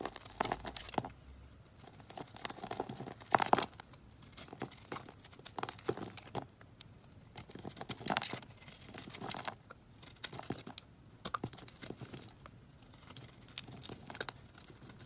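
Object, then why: Solid bar of soap cut with a blade. A solid pale pink Zara Home soap bar, held in the hand, is scraped and carved with a box-cutter blade. The result is a steady run of quiet, dry, crinkly scraping strokes with bright crisp edges and a few louder cuts along the way.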